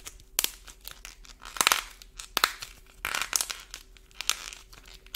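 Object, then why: Modeling clay ball with a dried paint shell. A small, solid green modeling clay ball coated in a dried, shiny orange paint shell is held in both hands while the fingertips and thumbs squeeze and knead it. This cracks and flakes the brittle paint crust off the soft clay. The result is a series of irregular, crisp, bright crackling and crinkling bursts with quiet gaps between them.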